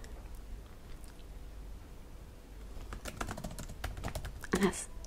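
Fingertips type and tap on the plastic keys of a black laptop keyboard. After nearly three seconds of low, quiet background hum, a quick run of short, dry plastic clicks starts up and builds, peaking in a brighter, louder tap cluster near the end.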